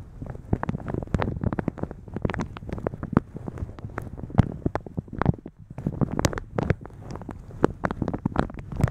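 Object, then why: Thin plastic shower cap over a microphone. Fingertips and long nails rub, squeeze and scratch a thin translucent polka-dot plastic shower cap stretched over a microphone. Dense, rapid crinkling crackles and sharp scratchy clicks ride over a heavy low rumble, with brief bright peaks throughout.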